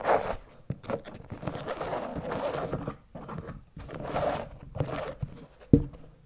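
Long nails scratch the canvas upper of an empty checkered canvas slip-on shoe lying on its side. Bursts of dry, rasping scratching come and go with short pauses between strokes. A brief, sharp low thump stands out near the end.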